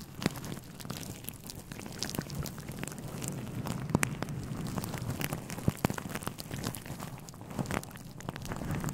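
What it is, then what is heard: Synthetic fur microphone windscreen being rubbed. Fingertips of both hands rub and scratch a grey fluffy synthetic fur windscreen on a microphone. The result is a continuous, dense crackling rustle with a heavy low rumble and scattered sharp clicks standing out from the steady scratching.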